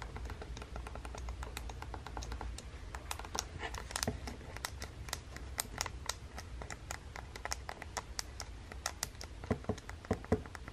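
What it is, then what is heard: Plastic game console, buttons pressed. A fingertip with long painted nails repeatedly presses and taps the buttons on the red Joy-Con controller of a small, hollow plastic Nintendo Switch handheld console lying on a table. The result is a quiet, steady stream of short, crisp plastic clicks and taps, each dying away almost instantly, over a low background rumble.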